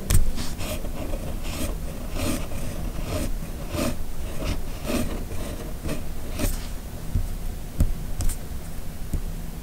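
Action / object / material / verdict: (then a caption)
scrape / steel pen nib on paper sheet / paper / none. A red plastic fountain pen with a steel nib, held in the fingers, writes cursive on a flat white paper sheet resting on a hard surface. The nib scratches across the paper in a steady run of short, bright rasping strokes over a constant low hum.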